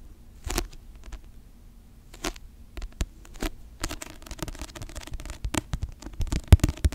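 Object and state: Paperback book cover tapped and scratched.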